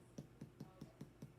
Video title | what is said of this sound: The Science of Bread | Do you hear how it's hollow? That means it's done.